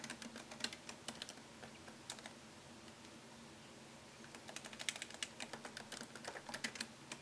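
Fingertips type on a MacBook Pro keyboard, tapping its low-profile plastic keys set in a thin solid aluminum chassis. Quick, bright, dry clicks come in rapid runs, with a quieter gap in the middle before the typing picks up again over a faint steady low hum.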